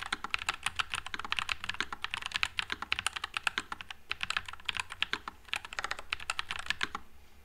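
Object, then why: Low-profile mechanical keyboard with plastic keycaps. Fingertips type continuously on a white low-profile Nuphy Air96 mechanical keyboard with plastic keycaps and Wisteria switches. Rapid, crisp, bright clicks arrive in an uneven run, each dying away almost instantly. The typing thins out toward the end.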